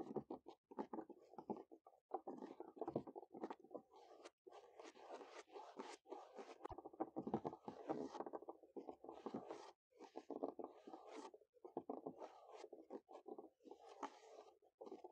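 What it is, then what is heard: Wooden picnic table top. Natural fingernail tips tap and scurry quickly across the boards of a large, solid wooden picnic table top outdoors. The result is a dense, quiet stream of dry, short scratchy taps, mostly in the low-mid to mid range with faint bright edges, broken by a few brief pauses.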